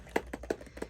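Four short, dry taps on the hard, plasticky protective case wrapped around the back of a BrailleNote Touch Plus braille notetaker. Each tap is a quick, hollow click that dies away almost instantly, over a faint low hum.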